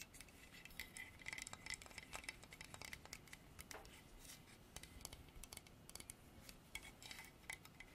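Fingernails tap and scratch the carved mane and ridges of a solid, dark polished hardwood horse statue. The result is a quiet, steady run of short, dry clicks and scrapes with very little ring, bright in tone with a faint tone around 1.3 kHz.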